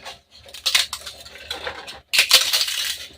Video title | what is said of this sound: एक किलो उडिद मुंग डाळीचे पापड, घरगुती मसाला घालून संपूर्ण रेसिपी, 1 kg Udid Mung Papad | छान असा कुरकुरीत आवाज येतोय एकच नंबर पापड तयार झालेलेत